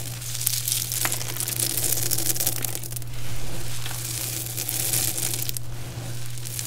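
Cupped hands scoop and squeeze handfuls from a heap of small, brittle, multicolored dried soap chips, crushing them and letting them fall back onto the pile. A dense, bright crunching and crackling runs throughout, rising and falling in waves over a steady low hum.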